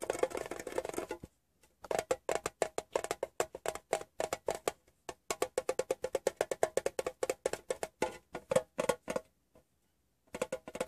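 A fingertip taps rapidly on the side panel of a closed, hollow, rectangular printed metal Wrigley's gum tin. It makes dozens of short, dry, hollow clicks with a boxy tone around 520 Hz that die away almost instantly. The taps come in quick bursts with brief pauses near 1.5 and 10 seconds.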